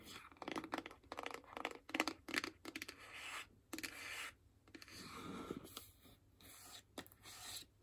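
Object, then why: Small closed paperboard box. Long acrylic nails scratch and tap along the side of a small, closed, hollow white paperboard iPhone box. The sound is a quiet series of dry, bright rasping scratches with crisp papery crackle and short taps. Each burst stops almost at once, with no ring.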